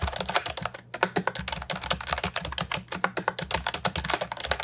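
A compact, hollow plastic Ajazz 308I keyboard with round, typewriter-style retro keycaps is typed on with fingertips. The result is a fast, steady run of short, bright, clacky keystrokes with a hollow plastic tone. Each keystroke dies away almost at once, with occasional brief pauses between bursts.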